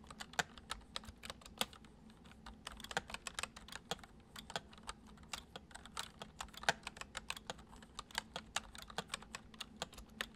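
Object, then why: Plastic computer keyboard. Fingertips of both hands type fast on a full-size white plastic computer keyboard with hollow keys resting on a wooden desk. A steady stream of quick, light, bright clicks and taps comes through, each dying away almost instantly, over a faint low hum.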